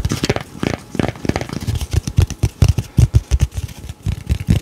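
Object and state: Cardboard beer coaster.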